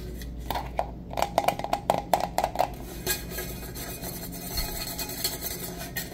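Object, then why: Insulated stainless steel travel mug. Fingertips and nails tap and rub the lid and body of a black-coated, hollow, insulated stainless steel tumbler with a silver metal rim, held in both hands. A quick run of sharp, dry taps with a short hollow ring around 730 Hz comes first. It then fades into softer, bright scratching and rubbing over a low steady hum.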